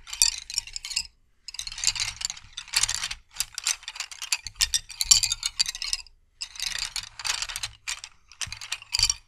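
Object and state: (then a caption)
Wooden colored pencils. A bundle of solid wooden colored pencils is held upright while fingertips rub and roll them together, making a dry, ratcheting wooden clatter. The rapid clicks come in repeated bursts separated by brief pauses. The sound is bright and high with almost no low end.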